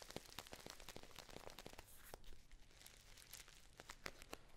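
A Dammann metallic foil tea pouch is held near the face and crumpled and squeezed with fingers and long nails. The result is quiet, continuous crinkling broken by many sharp, bright crackles and snaps that die away almost instantly, over a low rustling bed.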